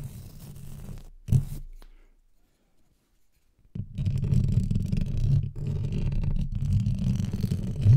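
Two thin wooden-handled paintbrushes, one in each hand, brush and scratch their bristles across the hollow, rounded metal mesh grille of a Blue Yeti microphone. The result is a deep, muffled, rumbling scratch with a sharp swipe near the start. It falls to near silence for about two seconds, then returns as a dense, steady stream of low brushing.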